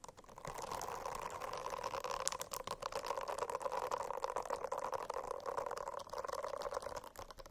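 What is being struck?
Silicone-covered notebook.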